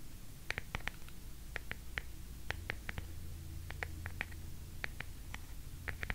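Long nails scratch the ornately carved relief on the back of an oval wooden hairbrush held up close to the mic. It makes a quick, irregular series of short, bright, dry ticks and scrapes over a quiet, low rumbling background.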